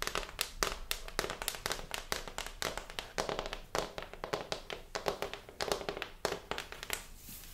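A thin, flat, brown hardboard (fiberboard) backing panel from a large picture frame, a solid sheet held up in the hands, is tapped on its surface with long pink-painted nails and fingertips. Rapid, irregular taps give sharp, dry clicks with a faint hollow tone near 400 Hz and almost no ring.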